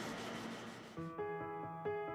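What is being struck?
Nothing is struck.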